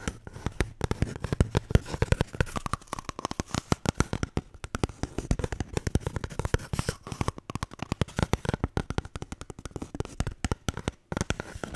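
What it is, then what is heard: Toilet paper roll. A paper toilet roll is tapped and scratched in quick, uneven bursts, giving a steady stream of soft, dull taps with papery scratching between them. The sound sits mostly in the low range, and each tap dies away almost at once.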